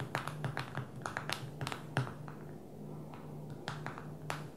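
Long fingernails tap rapidly on the glass touchscreen of a small black smartphone lying flat on a table. They make quick, bright, dry clicks in uneven bursts, with a brief pause in the middle, over a steady low hum.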